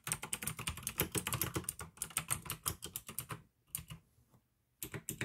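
Fingertips type fast on a full-size pink AUKEY plastic mechanical gaming keyboard with an RGB backlight, clicky blue switches and a hollow case. A rapid run of sharp, bright clacks with a hollow low thud under each keystroke breaks into a near-silent pause with a few scattered presses, then resumes quickly.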